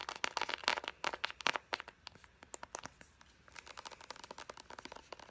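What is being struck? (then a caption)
Soft plastic squeeze tube. A soft, hollow, hand-sized white plastic Pacifica body butter squeeze tube is tapped and crinkled with long blue acrylic nails. The result is a rapid run of sharp, bright clicks and crinkles with almost no low end and a faint ringing tone near 950 Hz. Dense, louder taps in the first two seconds give way to sparser, quieter ones, then a steady patter returns toward the end.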